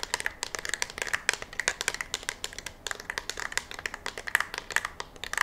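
A black, hollow, curved polymer rifle magazine, held in one hand close to the microphone, is tapped and scratched with long fingernails. The result is a rapid, steady series of about 39 short, dry, bright clicks with scratchy texture in between. Each tap dies away almost instantly.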